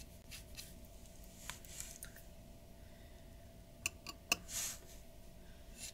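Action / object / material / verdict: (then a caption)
scrape / paper drawing sheet scratched by a glass dip pen / paper / none. The nib of a glass dip pen scratches across a large flat sheet of white drawing paper on a wooden table in rapid strokes. Quiet, bright, dry scratches come in irregular bursts, with a few sharper ticks and a brief swishing stroke near the end, over a faint steady hum.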